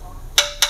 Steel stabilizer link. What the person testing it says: ada cetuk-cetuknya ada ketukan seperti ee besi ketemu besi